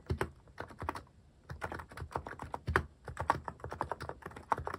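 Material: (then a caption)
Plastic. Slower fingertip typing on a mechanical keyboard fitted with plastic cat keycaps produces short, dry clacks in uneven bursts with brief pauses between them. Each tap has a bright click over a low thock and dies away almost instantly.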